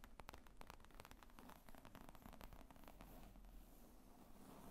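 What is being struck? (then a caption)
Leather laptop bag. Long nails tap quickly across the top of a padded, hollow black leather laptop bag with zippers lying on a table. The result is a quiet, steady stream of soft, dull taps with a crackly, rustling texture, mostly low in tone and dying away almost instantly after each tap.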